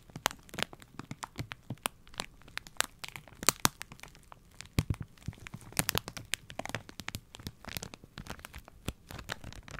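A Spontex sponge pack in a thin plastic wrapper is crinkled and scratched with fingers and nails. Dense, sharp, bright crackles and crunches come in quick, uneven bursts, each dying away almost instantly. The overall level stays fairly quiet throughout.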